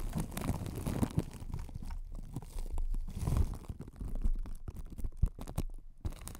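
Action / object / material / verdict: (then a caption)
scrape / microphone wrapped in plastic cling film / plastic film / none. Long acrylic nails on both hands scratch and tap across clear cling film wrapped over a hollow, white spherical microphone with a metal mesh grille. The result is a dense, close, bass-heavy rumble of crinkling, scraping and rubbing, broken by many short, sharp taps and crackles.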